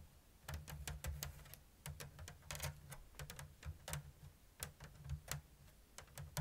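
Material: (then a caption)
Bamboo. Long blue nails tap and scratch the thin strips of a round, hollow woven bamboo lattice basket with an open diamond weave. It makes a quick, uneven run of light, dry clicks with short scraping rasps, each one bright on top and dying away almost at once. A steady low hum sits beneath them.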